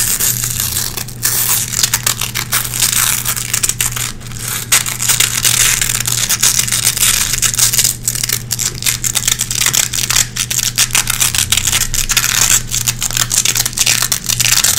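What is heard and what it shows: Long red-painted fingernails scratch and pick through the hooks of a small gray nylon velcro hook patch held in the fingers. The result is a dense, bright, crackling scratch with rapid tearing and crinkling bursts over a faint steady low hum.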